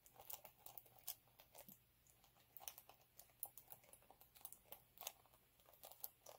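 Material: Plastic glitter.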